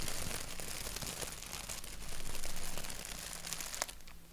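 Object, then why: Thin printed paper sheet. A thin white paper sheet with a black doodle print is held by its edges while fingertips scratch across it. The result is a steady, dry scratching and crinkling texture of rapid, uneven rasps, swelling louder in the middle and ending with a sharp crackle before it fades.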